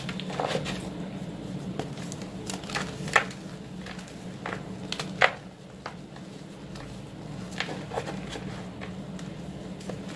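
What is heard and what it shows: Bare fingertips squeeze, rub and crumble small solid white blocks of reformed gym chalk (magnesium carbonate), some with yellow specks, into powder in a teal plastic bowl full of chalk powder. Soft gritty crackles and crunches sound over a low steady hum, with a few sharper snaps standing out as the bars break apart.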